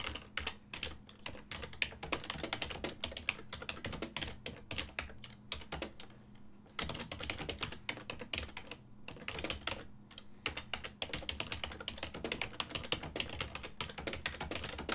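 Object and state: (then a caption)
Plastic computer keyboard being typed on. Fingertips continuously press the keys of a full-size black and silver plastic desktop keyboard with a hollow housing, making rapid, bright typing taps that die away almost instantly. The clicking runs nearly nonstop, with brief lulls around the middle, over a faint steady low hum.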